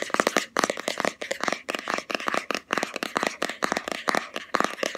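A round, palm-sized black plastic Body Shop Hemp jar with a green label lid is held in both hands and tapped fast with long fingernails on the lid and sides. The taps come as rapid bursts of short, dry, bright clicks with almost no low end and no ring. They form a busy, hollow plastic clatter.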